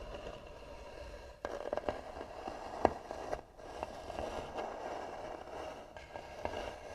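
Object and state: Carved wooden box, hollow.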